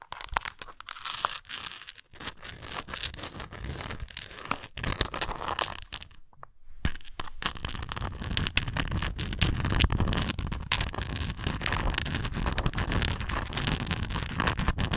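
Long nails scratch and tap the bumpy sides of a hollow, textured, translucent plastic Tums tablet bottle with a blue lid, partly filled with tablets. The result is a dense stream of crackly, crunchy scratches and quick dry taps, with a brief near-silent pause around six seconds. After the pause, the scratching returns fuller and louder with a heavier low rumble.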